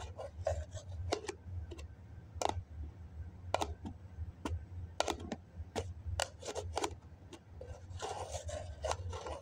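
A fingertip and nail scratch the side wall of a hollow white foam cup with its plastic lid on, making a string of short, dry, raspy scrapes over a steady low hum. Near the end, the scratching becomes a denser, continuous rubbing.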